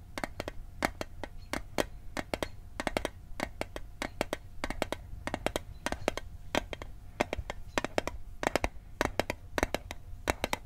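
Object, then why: Small metal mint tin. A small, hollow metal Altoids mint tin is held over the microphone and tapped with fingertips and nails. The result is a long run of quick, sharp metallic clicks in uneven bursts and clusters, each bright and very short with almost no ring. Underneath are a faint steady tone and a low background rumble.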